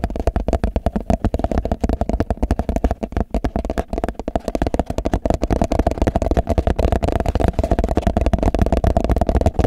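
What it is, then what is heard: Empty plastic food container. Fingertips and nails rapidly tap and scratch the walls and base of a medium, clear, translucent plastic food container that is hollow and empty. The result is a dense, continuous stream of short, dry, hollow knocks, heavy in the low end, with almost no ring after each one.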